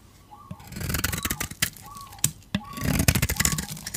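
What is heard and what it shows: A metal utility blade scrapes a solid rectangular dry soap bar with a purple coating and a white interior. Two long bursts of dry, crunchy, crackling scraping are heard, each packed with quick bright ticks and sharp snaps. White crunchy shavings come off the bar.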